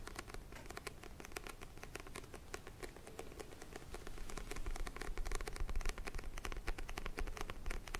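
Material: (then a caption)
Card. Fingertips and nails tap and scratch the glossy orange printed cover of a small, solid paperback book held in both hands. The result is a quiet, rapid, irregular patter of short, dry clicks and scratches with bright edges over a soft low rumble, growing louder about halfway through.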